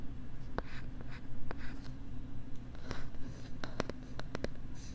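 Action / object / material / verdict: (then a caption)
scrape / plastic LCD writing tablet with stylus / plastic / none. A stylus writes and scratches across a pink plastic LCD writing tablet held close to the left side of the microphone. Soft brushing strokes are broken by sharp, bright clicks of the stylus tip, especially toward the end, over a steady low hum.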